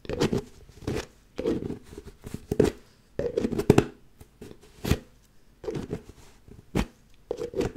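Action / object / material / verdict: scrape / plastic jar with ridged plastic lid / plastic / none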